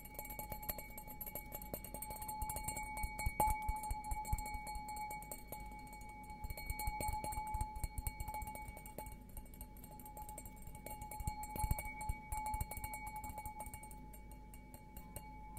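A clear, empty stemmed glass beer goblet with a green logo is held tilted and tapped repeatedly on its bowl with fingertips and nails. It gives quiet, irregular clicks and ticks over a steady, faint ringing glass tone with bright overtones, with a few louder taps along the way.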